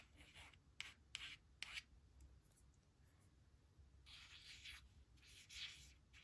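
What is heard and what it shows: Long pink nail tips, then a white plastic stylus, trace the letters of "she will / she'll" on a thin, flat laminated cardstock word strip lying on a woven blanket. A few sharp, bright clicks and scratches come first, then a quiet stretch of faint rubbing. Longer, louder bright scraping strokes follow, all with a dry, hissy edge and no ring.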